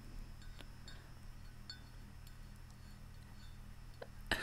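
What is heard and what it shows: Long nails tap the outer wall of a large, hollow, white ceramic Central Perk mug held in both hands. Light, bright clinks with a short ring sound over a steady low hum, and a louder scrape comes at the very end.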